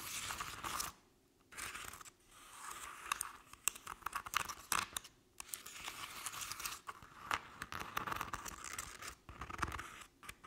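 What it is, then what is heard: Crepe-paper covered decorative pumpkin, scratched. Long acrylic nails scratch the ribbed surface of a medium-sized decorative jack-o'-lantern pumpkin, apparently hollow, covered in crinkled orange crepe paper with a black felt face. Dry, bright crinkling and rasping scratches come in bursts separated by brief quiet gaps, with almost no low end and no ring after each stroke.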